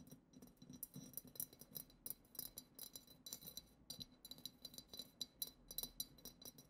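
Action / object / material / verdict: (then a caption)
tap / glass goblet / glass / none. Long acrylic nails tap the lower bowl of a hollow, clear, glitter-decorated glass goblet in a quick, irregular series. Each tap is a short, bright glassy click with a thin high ring that dies almost at once.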